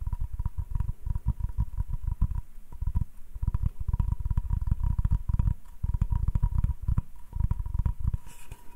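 Fingertips and nails of the right hand tap quickly across the face of a solid wooden cutting board held in the left hand, making a dense stream of dull, low, deep thuds with light clicky ticks. The tapping comes in bursts with brief pauses, over a faint steady tone near 1 kHz, and a soft bright hiss rises near the end.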